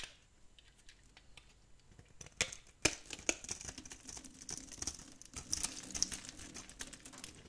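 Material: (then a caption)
Soap. A metal blade scrapes white shavings from a solid, scored, very old and dry white soap bar held in the hand. The result is a bright, crisp, crackling scrape with irregular dry clicks and a few sharper snaps, quiet at first and growing busier toward the end.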